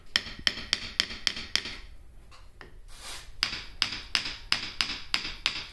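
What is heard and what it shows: A hammer taps a grout-filled steel part of a modified PrintNC DIY CNC machine in two runs of sharp, bright knocks separated by a brief faint scraping hiss. Each tap dies away almost instantly with no lingering ring, so the filled steel sounds solid compared with the ringing of unfilled steel.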